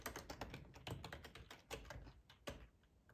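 Fingertips of both hands type on a black plastic full-size ergonomic split keyboard resting on a cloth tablecloth. An irregular run of soft, quick key clicks is heard, each a bright tap over a low, padded thump that dies away almost at once.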